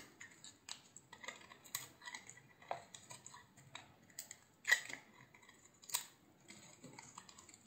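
A utility knife blade shaves strips off the face of a solid, hand-sized green bar of soap. The result is a steady series of short, crisp, bright scraping clicks with almost no low end, mostly quiet, with a couple of louder cuts near the end.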